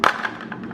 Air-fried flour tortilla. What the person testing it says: it sounds like cardboard